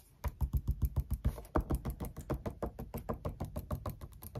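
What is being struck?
Glossy paper magazine on a desk.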